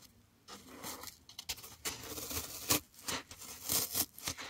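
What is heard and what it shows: A solid green floral foam block held close to the mic is scratched and pressed with fingertips and nails, making dry, crackly scraping and crunching textures that are mostly bright and high. The sound comes in uneven bursts of scratching with short pauses between them, each with a quick, sharp onset and almost no ring.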